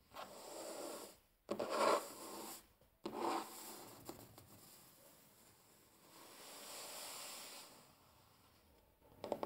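Fingertips and short nails of both hands rub and scratch across a large, flat, solid wooden tabletop. Quiet, breathy rubbing swells in and out, with a few louder scratchy bursts early on. A cluster of light, crisp scrapes and clicks comes at the end.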